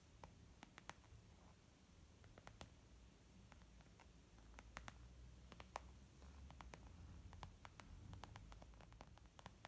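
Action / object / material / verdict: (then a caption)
tap / small leather zip makeup bag / leather / none. Long nails and fingertips tap on a small white textured leather zip makeup bag lying flat, soft and hollow, with a brief flat-hand press. Quiet, sharp, dry clicks with almost no ring scatter irregularly over a low, steady rumble and faint hiss.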